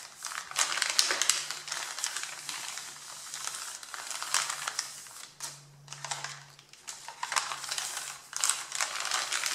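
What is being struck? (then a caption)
Stack of printed paper sheets. Fingertips and nails scratch and rub across the wrinkled top sheet of a stack of thin printed paper. The result is dense, bright, crinkly scratching in irregular bursts that swell and fade, with a faint low hum underneath.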